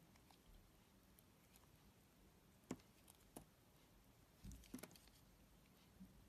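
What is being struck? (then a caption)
Glycerin soap bar. A yellow box cutter blade slices and scrapes thin layers off a solid, hand-sized, amber translucent Pears glycerin soap bar held in one hand. Several short, crisp cutting clicks and soft scrapes stand out against a quiet, low hiss, each dying away almost instantly, with a brief cluster of scrapes near the end.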